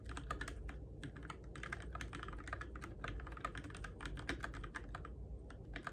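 Fingertips type steadily on a Keychron K6 compact RGB-backlit mechanical keyboard with plastic keycaps on its switches, in the dark. Quick, short, clacky key taps come in an uneven rhythm, each dying away almost at once, over a steady low rumble.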